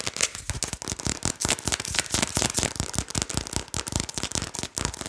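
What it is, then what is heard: Plastic seasoning shaker bottle. Long nails tap and scratch quickly on the label and red plastic cap of a medium plastic Adobo seasoning shaker bottle, likely partly full, held close to the mic. About twenty-two rapid, sharp clicks run together with scratching in a bright, crackly burst that sounds much like firecrackers. Each tap dies away almost at once.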